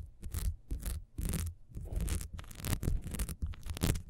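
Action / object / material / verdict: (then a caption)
scrape / ribbed wax beehive candle / wax / none. Long nails scratch fast over the ridges of a small, solid, ribbed wax beehive candle held in the hand. The result is repeated bursts of dry, raspy scraping with bright, hissy edges over a heavy low rumble of handling, each stroke stopping short with no ring.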